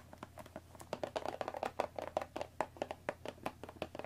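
Long nails tap and scratch the top and front of a hollow Earl Grey cardboard tea box wrapped in cellophane plastic film, resting on a wooden table. A rapid, uneven series of soft, hollow knocks with a mid-pitched body comes through, each carrying a bright, crisp crinkle from the film and dying away almost instantly.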